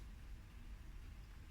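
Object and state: Nothing is struck.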